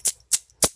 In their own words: that's the sound of silver